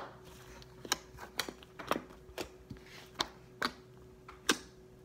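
Fingertips pat, poke and fold a white fluffy slime mass resting on a table, making nine sharp, bright, irregular clicks and pops with soft squishy sounds between them. A faint steady low hum runs underneath throughout.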